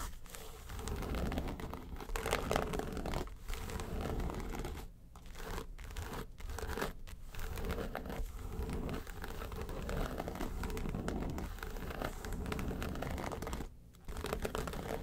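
Long pointed nails scratch and tap the lid of a flat, hollow yellow case covered in fine-textured faux leather. The sound is a dense, continuous crinkly scratching with a heavy low-end thump, interrupted by short, quieter dips around 5 and 14 seconds.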